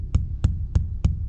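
Four low, hollow thumps on the upper wall of a rainwater collection tank, above the water line where the section holds only air. Each has a deep boom around 75 Hz that dies away quickly, with a faint brushy top. This is the air-filled sound, in contrast to the water-filled part below.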